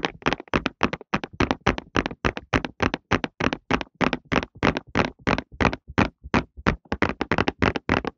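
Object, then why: Cardboard tissue box. A printed cardboard tissue box is held flat with its bottom panel facing the mic and tapped with fingertips on the flat cardboard surface. Dozens of quick, hollow, papery taps come in a loose, uneven rhythm of about three to four per second, each a short dull thud with a bright edge that dies away almost at once.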